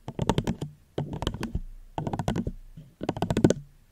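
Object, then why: Plastic cup. Gentle fingertip tapping on a plastic cup held close to the microphone, in four quick bursts of light, rapid taps about a second apart. Each tap is short, soft and dull, with a low hollow body and almost no ring.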